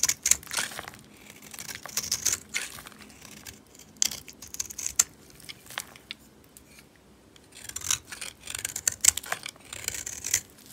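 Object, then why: Bar of soap. A solid, dry pink oval bar of soap, held in a hand with long white nails, is shaved and carved with a metal utility knife blade. Short, bright scraping strokes flake curls off the soap in bursts, with quiet pauses in between.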